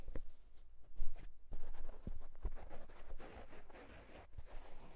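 Fingertips scratch and tap the crown of a hollow houndstooth wool tweed fedora hat. Quiet, soft fabric scratching and rustling mix with brief dull taps over a faint low hum.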